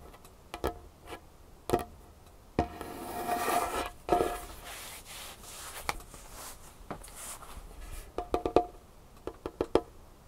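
Long painted fingernails tap a large, solid, dark-stained wooden tabletop, with one hand lifting between strikes. Sharp, clicky taps with a brief woody ring near 700 Hz come in scattered bursts. Between them, stretches of soft, raspy scratching or rubbing drag across the surface.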